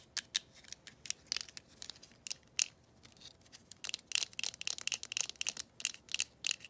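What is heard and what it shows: Long pointed acrylic nails scratch and tap the surface of a green, glossy, hollow plastic handset from a rotary phone, held above the phone base. The result is a dry, irregular run of sharp, bright clicks and scratchy ticks with no low end and no ring, growing busier and denser in the second half.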